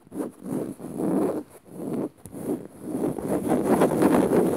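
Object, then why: Woven fabric on a padded cushion. Long nails scratch across dark woven fabric on a soft padded cushion in dim light. Several rasping bursts of scratching, dry and mid-pitched, run into a steadier, louder stretch of continuous scraping toward the end.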